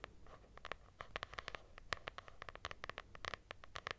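Long nails scratch the textured cloth cover of a lilac hardcover notebook with a solid paper block. A quick, uneven series of short, dry scratches rasps over a soft hiss, each stroke bright and gritty and stopping dead with no ring.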